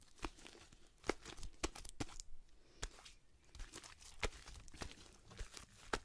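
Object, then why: Fluffy slime. A large mass of pale pink fluffy slime is held in both hands in front of the body, without touching the mic, as fingertips and long nails stretch, pull and squish it. It gives soft tearing and crinkling sounds broken by sharp, bright snapping pops that die away almost instantly, over a low, quiet rustle.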